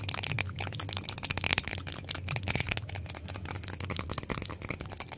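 A small white plastic bottle is shaken vigorously by hand close to the microphone, producing a dense, continuous rattle of sharp, bright clicks with no pauses. A steady low hum runs underneath the rattling.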